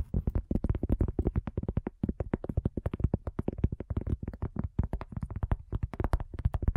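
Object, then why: Cork coaster. A cork coaster is tapped in a rapid run of about 46 short taps over nearly seven seconds. Each tap is a dull, low thud with almost no ring, the sound sitting mostly below 200 Hz.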